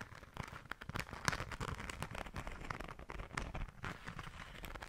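Long nails scratch and tap the glitter on a small, flat, pink glitter-coated fabric zipper pouch. Quiet, dense crackly scratching runs throughout, broken by frequent short, dry taps over a soft low rumble.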